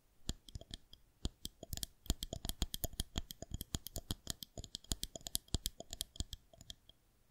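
Long acrylic-style nails tap rhythmically on a white plastic rolling pin balanced on the fingertips of both hands. Dozens of quick, dry clicks with a bright edge and a faint low knock sound with no ring, sometimes in rapid bursts, over a quiet background.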